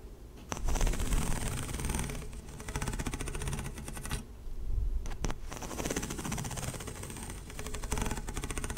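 A single hollow, light blue corrugated plastic pop tube, held by fingertips and long nails, is stretched and compressed close to the mic so its ridges pop and click. The result is a dense, rapid run of close, bass-heavy clicks and rattles that swells and eases in bursts, with brief lulls between them.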